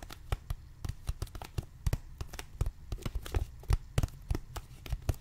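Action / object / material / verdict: tap / thin plastic water bottle / plastic / none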